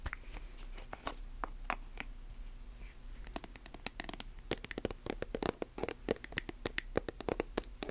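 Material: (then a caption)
Plastic. Long nails tap and scratch a silver metallic plastic lotion tube and its chrome cap. Short, sharp clicks with bright, scratchy edges start sparse, then come quicker and denser in the second half over a faint steady low hum.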